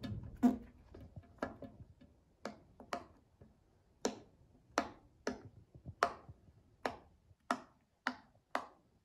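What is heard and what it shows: A child presses the hollow bubbles of a cloud-shaped tie-dye silicone pop-it fidget toy with her fingertips. About thirteen soft, separate pops sound with short, bright snaps and a low, hollow body around 250 Hz. Each pop dies away almost at once, with faint rustling between them.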